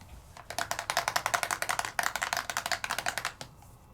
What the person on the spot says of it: So you wanna shake it until you can hear that marble or ball rolling around, because that's mixing the ink and the mica together.